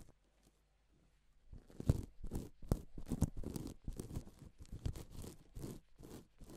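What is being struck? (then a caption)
Plastic sequin fabric. A gloved flat hand rubs and sweeps across a flat, reversible pink and silver plastic sequin fabric sheet. After about a second and a half of near silence, a steady series of quiet, scratchy, rustling strokes follows, each a short crackly sweep with a dull low body and a bright hiss.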